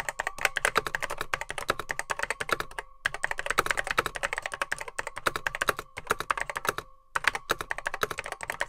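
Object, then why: Plastic computer keyboard with mechanical switches. Fingertips type rapidly on a beige plastic Apple M0110B vintage keyboard with grey plastic keycaps, its hollow case holding mechanical switches. A fast, dense stream of dry, sharp clacks with very short decay and little low end runs throughout, broken by a few brief pauses near 3, 5, 6 and 7 seconds.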